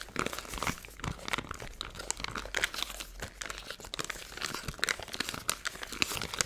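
A small clear plastic zip-top bag with a green seal, packed full of fine silver glitter or foil bits, is held in both hands and crinkled and squeezed with long blue-painted nails and fingertips. It makes a steady, dense run of bright, crisp crinkles and sharp crackles with little low end and no ring after each snap.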